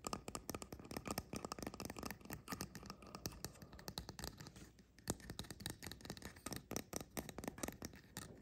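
Fingertips and nails tap and scratch quickly on both caps of a small, upright, painted resin mushroom fairy house. The result is a dense stream of short, dry clicks and scrapes, each dying away almost instantly, with a brief quieter lull midway before the fast tapping picks up again.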